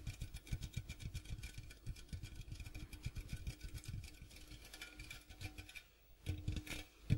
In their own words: ASMR Tapping Sounds on Popcorn Box